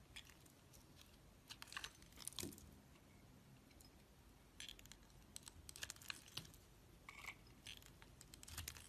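A metal utility knife blade shaves and scrapes thin curls off the surface of a solid, palm-sized red soap bar held in one hand. Quiet, dry, bright scraping and crackling comes in short bursts over a soft background hiss, with a few sharper ticks. Each burst stops dead with no ring.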